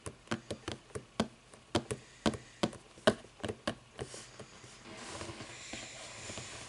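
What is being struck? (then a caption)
Book, paper and cardboard. Fingers tap on a book in a quick run of short, dry knocks with almost no ring, then shift to a soft, steady scratching hiss across the cover toward the end.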